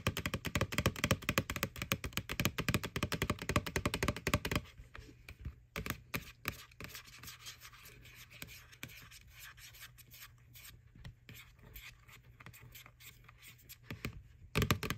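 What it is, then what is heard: Plastic Halloween bucket. Fingernails scratch and rub the side wall of a white, hollow plastic McDonald's Boo Bucket with a ghost face. Dense, loud, rapid scratching fills the first few seconds, then gives way to quieter, lighter rubbing over a faint low hum. A brief loud burst of scratching returns at the very end.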